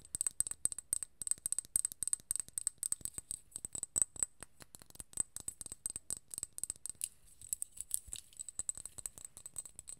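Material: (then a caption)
Glass. Long nails tap and scratch a small cylindrical glass serum bottle filled with gold liquid and topped with a gold metal cap. Dozens of quick, soft, dry clicks and brief scratches come in rapid, uneven bursts, each dying away almost instantly, with a thin, bright high ring over a faint low thud.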